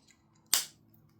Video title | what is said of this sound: Winter Fragrance hall first impressions ! | you can tell that click sounds like plastic